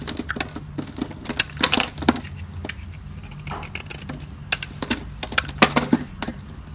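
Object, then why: Bar of soap cut with a blade. A solid, dry white embossed soap bar held in the hand is shaved and carved with a metal utility blade, peeling off flaky curls. Sharp, dry crackling scrapes and crisp snaps come in quick, bright bursts over a faint low hum, each dying away almost instantly.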